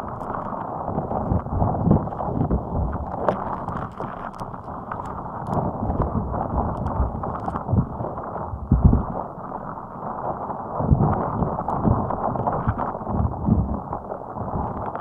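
Long acrylic nails scratch the spikes of a fist-sized, hot pink soft rubber spiky puffer ball resting on top of a microphone. The result is a dense, muffled, rubbery scratching and squeaking with frequent soft thuds, heavy in the low end. It continues steadily for the whole clip with occasional louder bumps.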